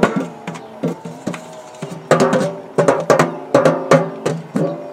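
Fingertips tap quickly on the purple embossed metal lid of a large, round, hollow biscuit tin. Each tap gives a short, hollow, pitched ring with a mid-low tone and bright attacks, coming in uneven clusters.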